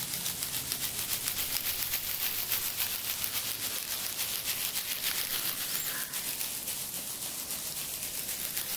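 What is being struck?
Nothing is struck.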